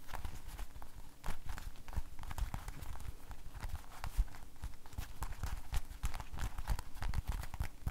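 An empty, hollow blue rubber household glove is held up by the cuff, shaken and flapped while fingertips rub and squeeze the rubber. This produces a dense, continuous stream of soft, muffled thumps and quick rubbery slaps, heavy in the low end with faint brighter squeaks and rustles above.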